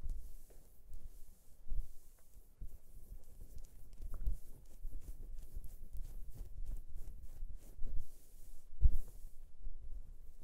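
Fingertips and nails of both hands scratch at the belly of a white cotton gym T-shirt worn on the torso, a thin, soft fabric layer over the body. The result is quiet, irregular bursts of soft rustling and scratching, mostly low and muffled, with faint bright hiss on some strokes.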